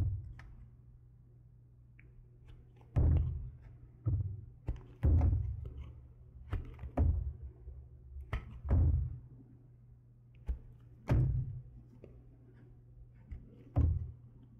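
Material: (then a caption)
Wax. A small red-patterned knife blade shaves and scrapes curls off a solid green wax pillar candle, about fist-sized, held in one hand. Dull, low thunks are heard as the blade bites into the wax, each followed by a brief bright scraping hiss. The thunks come at irregular intervals over a quiet background.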